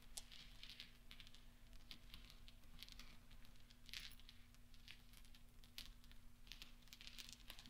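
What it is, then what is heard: Steel pachinko balls. Small solid steel pachinko balls on black velvet are stirred and rolled by fingertips and nails. They give soft, bright clinks and clicks over a low steady hum, at a quiet level throughout.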